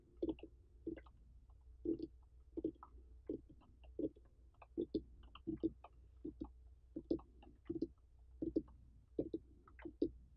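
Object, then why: Whole uncut pumpkin. Long painted fingernails and the fingertips of both hands tap on the ribbed rind of a large, uncut orange pumpkin with a dry stem, its rind intact and not hollowed. Soft, dull thumps with a low-mid body come in quick, uneven clusters, each dying away almost at once, with light bright clicks from the nails scattered over a quiet background.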